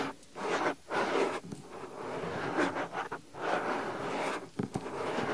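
Fingertips press, pinch and rub the soft white silicone ear of a binaural microphone. The result is a series of close, breathy rubbing and scratching swells centered in the low mids, separated by brief quiet gaps and ending with a few sharper scratches.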